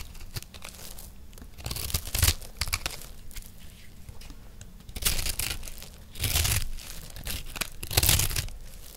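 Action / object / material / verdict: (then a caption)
scrape / recycled soap disc scraped with a metal knife / soap / none. A round, solid, turquoise disc of dry recycled soap is held in one hand and scraped and shaved with a metal knife blade. Dry, crisp tearing and crumbly scraping strokes come in bursts, with the loudest around two, five, six and eight seconds, and there are bright highs over a low rumble.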